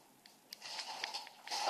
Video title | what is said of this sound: "Perfect Smile Line" | tapping it you see how it sounds Hollow it's not ready yet